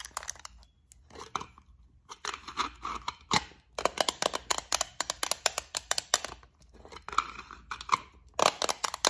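Long nails tap and scratch along the lid of a small, long clear plastic compartment case holding gold beads. Dense bursts of quick, bright clicks alternate with scratchy rasps, separated by short quiet gaps. The taps are sharp and dry, with almost no low end and very little ring.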